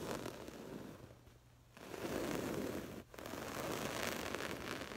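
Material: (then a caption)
Woven fabric. Long acrylic nails on both hands rapidly scratch a soft stuffed cushion covered in textured, woven floral fabric. The result is a dense, continuous scratchy rustle, centered in the low-mids with a bright, airy edge. It softens briefly partway through and cuts out for a moment before resuming at full intensity.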